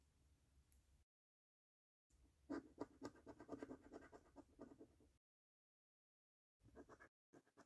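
A coin scratches the scratch-off coating on the game panels and number area of a thin, flat paper National Lottery "£1 Million Snack Stack" scratch card held down by one hand. Quick, dry, raspy scrape strokes come in irregular bursts, separated by stretches of silence. The sound is mostly mid-range, with a brief bright edge on each stroke.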